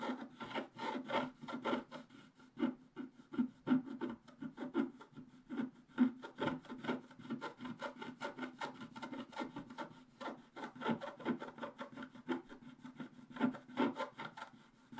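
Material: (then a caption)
Coated paper. A wooden stylus scratches the leaves on the right side of a flat, black-coated scratch-art paper sheet. Dense, rapid, dry scratching strokes repeat steadily throughout, each short and rough with a low-mid scraping tone and no ring.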